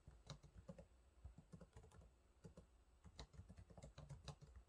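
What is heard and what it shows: Fingertips type rapidly on the low-profile plastic keys of a silver laptop keyboard, producing a quiet, steady stream of short, dull taps. The clicks are mostly low and soft, with occasional brighter ticks, and each one dies away almost instantly.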